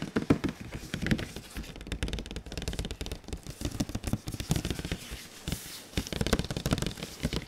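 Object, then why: Printed cardboard box. A large, glossy printed cardboard console box is rotated and tapped with the fingertips, producing rapid bursts of short, dull, hollow taps heavy in low tones with light crackly rustle. The tapping comes in dense flurries with a quieter stretch near the middle before picking up again.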